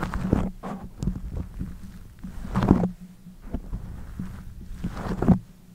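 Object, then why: Soft foam windscreen on a condenser microphone. Fingers with long nails squeeze, rub and scratch a black soft foam windscreen covering the head of a pink condenser microphone. The result is muffled, low, boomy thumps and rumbling rubs in irregular bursts, with a steady low hum underneath and almost no high end.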